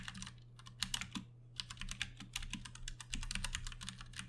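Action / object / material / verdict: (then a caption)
tap / plastic mechanical keyboard / plastic / none. Fingertips type rapidly on a compact 60% backlit Ducky One 2 Mini mechanical keyboard with Cherry MX Brown switches and plastic keycaps, resting on a desk mat. Dense, bright, short clicks and clacks follow one another in quick bursts with brief pauses, over a steady low hum.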